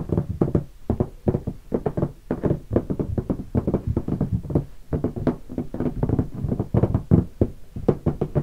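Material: Hard plastic.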